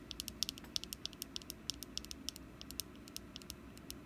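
Long nails tap and scratch the face of a small, solid orange wax jack-o'-lantern candle held in the hand. The result is a quick, uneven run of sharp, dry, bright clicks with almost no ring, over a faint low background rumble.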